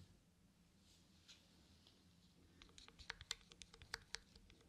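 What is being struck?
Small plastic cosmetic jar with lid.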